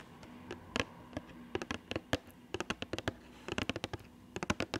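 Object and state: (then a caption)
Cardboard box tapped with fingernails. A small printed cardboard box for an Attack on Titan Levi figure, apparently with the figure still inside, is held in front of a microphone and tapped with long painted nails. About 21 short, dry, bright taps come in irregular bursts, each dying away almost at once over a faint steady low hum.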